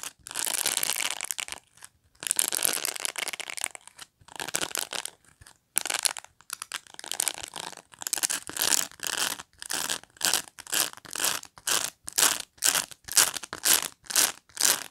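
Long nails scratch the dense plastic pin bristles of a black rectangular pet brush, raking across the bristle field and along its edge. The sound is a bright, dry, hissy scratching with almost no low end: long sweeping strokes at first, then shorter strokes that settle into a quicker, fairly steady rhythm of about two per second.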